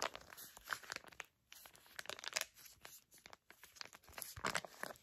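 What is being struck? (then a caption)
Filled foil sachet. A filled, flat printed foil face mask sachet is crinkled and scratched by long nails. The sound is a dense run of crisp, bright crackles and scratchy rustles with very little low end, broken by a few brief quiet gaps.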